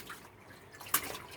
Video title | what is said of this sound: Shifter linkage plan... ran out of letters. And diaper fishing! | you can hear it sloshing down there in the bottom of that bilge